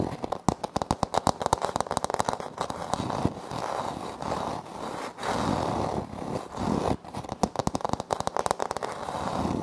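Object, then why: Wood-look laminate floor panel. Fingertips and short nails of both hands tap and scratch a flat, solid floor panel with a light wood-grain print, likely laminate or vinyl, beside a Tascam recorder that is left untouched. Bursts of crisp, dry, rapid taps open and close the clip, with a stretch of continuous raspy scratching in the middle. The sound is mostly midrange with short, clicky decays and little high or low energy.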